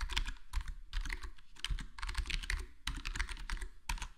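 Index fingertips tap the keys one at a time on a black plastic HyperX Alloy Core gaming keyboard, a full-size board with square plastic keycaps and a foam-modded, foam-dampened case. The result is a steady run of quick, soft clacks with a muted low thump under each press and short, bright key noise that dies away fast.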